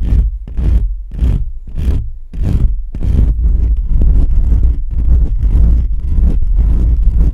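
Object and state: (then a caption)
Metal mesh microphone grille being scratched. Both hands scratch fingertips and short nails across the bare perforated metal mesh grille on the hollow head of a black USB condenser microphone. Heavy, boomy contact rumble comes through, with a deep low thump under each stroke and a faint bright scratchy edge. The strokes are separate rhythmic bursts at first, then run together into a dense, continuous scratching.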